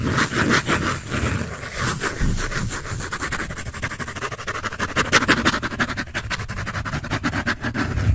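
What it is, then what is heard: Pencil scratching on a paper sketch pad. A pencil tip rubs and scratches across the shaded surface of a thin, flat sheet on a large white drawing paper pad with a red cover, held in both hands. Quick, uneven back-and-forth strokes, about three per second, make a dry, bright, papery scraping with a soft low rustle under it. The sound stays steady and continuous for the whole clip.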